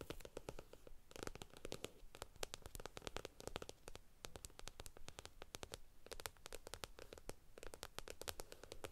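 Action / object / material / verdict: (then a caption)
tap / stack of paper comic books / paper / none. Long acrylic nails scratch and tap the glossy front cover of a stack of thin paperback comic books lying flat on a table. Quick, crisp, bright clicks come in dense runs, mixed with dry papery scratching over a soft low rumble. Each tap dies away almost instantly, and the overall level stays quiet and close.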